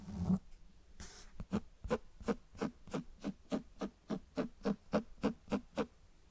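Fingertips and nails tap and scratch the front cover of a closed cloth-bound hardcover book held right at the mic. A brief scratchy rub and a bright scrape come first, followed by a steady run of about fifteen soft, dull, low taps. Each tap dies away almost instantly.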